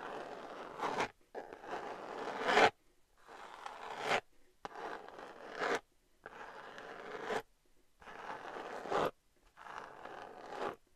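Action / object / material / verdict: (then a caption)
scrape / glitter-covered cardboard palette / cardboard / none. Long nails scratch the textured surface of a flat, hand-sized, rose-gold glitter-covered cardboard eyeshadow palette. Seven rough, raspy scratching strokes, each swelling brighter toward its end, are separated by brief silences.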